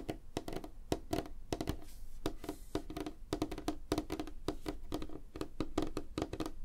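Fingertips and nails of both hands tap fast on a flat, solid, light wooden tabletop. A rapid, uneven run of short, dry knocks with a hollow woody tone around 316 Hz and faint bright clicks from the nails. Each tap dies almost instantly.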